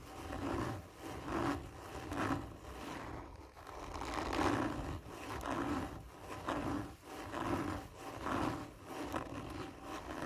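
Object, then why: Cardboard tube. Fingernails scratch slowly and hard along a hollow, textured cardboard tube lying on its side. Each rough, rasping stroke swells and fades with a hollow, resonant tone, repeating roughly once a second in an uneven rhythm.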